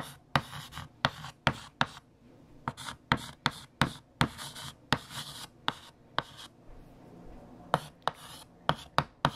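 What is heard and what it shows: A hand writes on a large, solid, flat black chalkboard with a pink chalk stick, making scratching strokes. Sharp chalk taps and bright, gritty scrapes come in quick bursts, separated by brief pauses, over a faint low hum.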